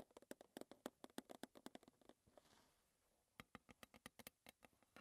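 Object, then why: Small metal tea tin. Long red-painted fingernails tap and scratch the lid and sides of a small, closed, square green Twinings metal tea tin standing on a table. Quick, dry, bright clicks with very short ring come in irregular bursts, 27 in all. A soft scratching lull around the middle separates them before the tapping resumes.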